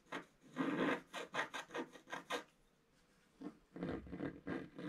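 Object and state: Scratch art paper being scratched.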